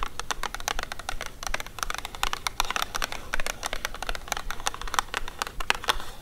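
Long acrylic nails on both hands tap and scratch the sides of a hexagonal printed cardboard haggis box, which is hollow with the tin inside. Rapid, dry clicking taps fall in a dense stream with short scratches between them. Each tap dies out almost at once.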